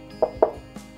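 Three knocks on a hostel's outer wall, where an exterior coating covers a 12 cm polystyrene insulation layer instead of solid brick and mortar. Each knock is a short, hollow, mid-pitched thud that dies away quickly, sounding as if there were nothing behind it. This hollow sound is normal for the coating over the insulation.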